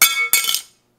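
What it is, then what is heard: Dropped titanium credit card. An Apple Card credit card is dropped again to compare it with an AMEX Gold card. It lands with a bright, high-pitched metallic clink, then a second clatter and a few quick rattles before it settles within about 0.7 seconds.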